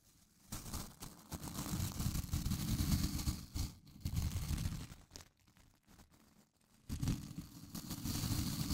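Fingers flick the white nylon bristle tips of a small blue plastic scrub brush held close to the mic, making rapid, dense snapping and crackling with a heavy low thump and a thin bright edge. The flicking comes in bursts: it starts after a brief quiet, drops to soft near-silence in the middle, then resumes at full strength to the end.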